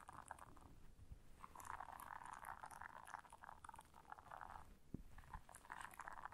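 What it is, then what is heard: Silicone scrubber pad. A flat, solid blue silicone bristle scrubber pad is scratched across its bristles with long nails and bent by hand. The result is a soft, steady rasping scratch concentrated in the mid range around 1 kHz, with faint brighter flecks and a few low thumps, including a sharper one near the five-second mark.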